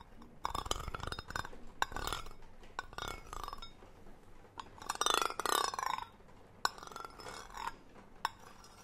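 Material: Metal.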